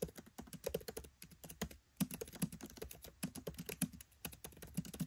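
Fingertips type rapidly on a MacBook Pro 13 keyboard with black plastic keycaps set in an aluminium body. A quick, steady run of soft, dull clicks and taps comes with a brief pause near the two-second mark. Each key press dies away almost instantly.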